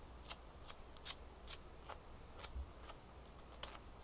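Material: Ice.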